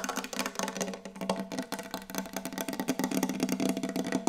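Fast, hard tapping on a wooden table produces a continuous stream of dry, clicky knocks with almost no ring. A steady mid-low tone sits under the taps, and the tapping grows slightly louder toward the end.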